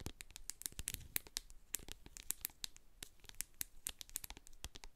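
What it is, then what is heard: Plastic cosmetic jar with metal lid. Long acrylic nails tap and scratch the sides and label of a medium hand-held plastic jar of hair co-wash, full of white cream and capped with a silver metal lid. The result is a quiet, rapid string of sharp, bright clicks with a soft, dull body, interspersed with faint scratchy rustling.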